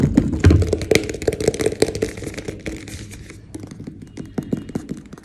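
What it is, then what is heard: Plastic tub, hollow. A medium white plastic protein powder tub with a green lid, hollow and with its fill level unseen, is tapped quickly with fingertips and short nails on its sides and bottom. The result is a rapid, irregular run of short, dull taps and thunks, mostly low and hollow-sounding with quick clicky edges. The taps grow quieter toward the middle before a few sharper taps near the end.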